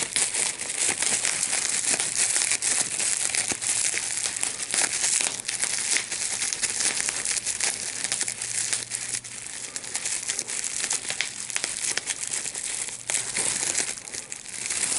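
A large sheet of clear plastic bubble wrap with small air bubbles is held in both hands while the bubbles are pinched and popped with the fingertips and thumbs. Dense, bright crinkling runs throughout, with frequent sharp, quick pops that stop almost instantly and little low-end body.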